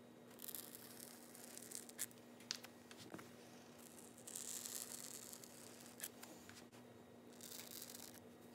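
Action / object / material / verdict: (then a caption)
scrape / closed-cell polyethylene foam sheet scratched with a metal awl / polyethylene foam / none. A wooden-handled metal scribe or awl is dragged through a large solid sheet of grey closed-cell polyethylene foam toolbox insert on a bench, tracing tool outlines. It makes quiet, bright scratching and tearing strokes with short sharp catches as it cuts shallow grooves, over a faint steady hum.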